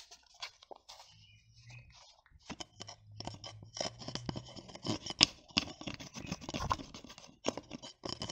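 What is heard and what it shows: Long nails tap and scratch the small plastic flip or screw cap of a blue plastic cosmetic bottle held close to the microphone. Quiet, irregular, crisp clicks and dry scratching sound bright and dry, with a faint low hum beneath the first half.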